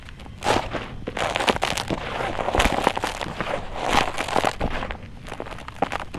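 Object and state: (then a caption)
Dry red dirt. Bare fingertips and hands dig, rub and scratch through loose, dry, gritty red-brown soil with small pebbles filling a blue plastic tub. The result is a dense, continuous stream of dry crackling and gritty scraping, with sharp bright crunches and pebble clicks rising out of a softer rustle.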